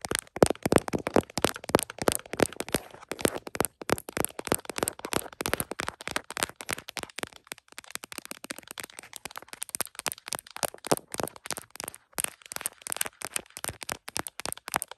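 Long nails on both hands tap rapidly across the back of a tripod-mounted iPhone in a smiley-print plastic case, moving near the camera lenses. The result is a dense, continuous stream of short, dry plastic clicks with a mid-range body and bright edges, each dying out almost instantly. The taps are loudest and busiest at the start, then thin into a slightly softer, more scattered rhythm.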